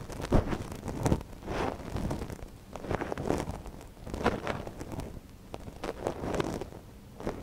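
A gloved hand scratches a thin wooden ear pick inside the canal of a small, hollow white silicone dummy ear on a binaural microphone. The result is a close, low-heavy rustling and scraping with repeated soft crackling strokes and brief louder scratches.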